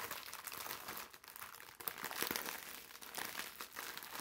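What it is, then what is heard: Plastic-wrapped sponge. Fingertips squeeze, press and crinkle the thin clear plastic wrap sealed around a hand-sized green bath sponge. The result is a quiet, steady stream of bright, crisp crinkling and crackling with almost no low end, swelling slightly louder in the middle before settling back.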